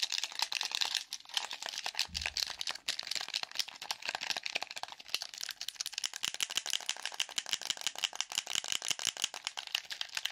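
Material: Plastic.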